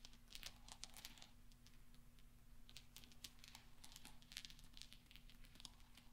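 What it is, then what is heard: Steel pachinko balls clinking. Fingertips and nails tap and roll small solid steel pachinko balls resting on black velvet, so they clink against each other. Quick, bright metallic ticks and clicks, centered around 3.7 kHz and dying away almost instantly, scatter irregularly over a steady low hum, with soft crinkly rustling in between.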